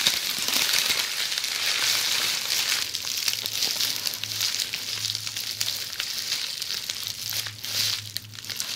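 Long polished fingernails scratch a bundle of red plastic bubble wrap resting on a table. The result is a steady, dense crinkling and crackling scratch, almost entirely bright and high, with a faint low hum underneath.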